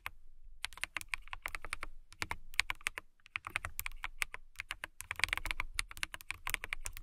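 Long fingernails type quickly on a clear acrylic mechanical keyboard with a transparent acrylic body and clear keycaps. The result is a fast, dense run of sharp, bright clicks with a clacky tone around 2.2 kHz. Each keystroke ends almost instantly, with brief pauses near the start and around the three-second mark.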